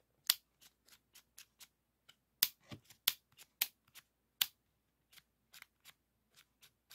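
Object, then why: Plastic floppy disk with metal shutter. Fingertips rub the textured hard plastic shell of a green 3.5-inch floppy disk with a metal hub, held close, and slide its black shutter. The result is a quiet series of short, bright, dry clicks and scratchy ticks with a few sharper, louder snaps among them.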